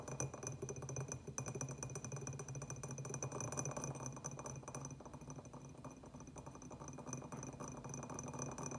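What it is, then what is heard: Terracotta clay pot. Fingernails from both hands tap rapidly on a small, empty, hollow terracotta clay pot with a white glazed band, striking both the glazed and unglazed clay. The result is a dense, irregular stream of quick, dry clicks over a low hollow resonance, with a faint steady high tone running underneath throughout.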